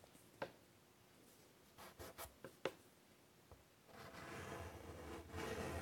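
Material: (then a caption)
Chalk. White chalk held in the fingers is drawn across a large flat chalkboard set in a wooden frame. A few short, sharp taps and scrapes come first, then after a pause a steady, bright, gritty scratching of chalk lines continues to the end.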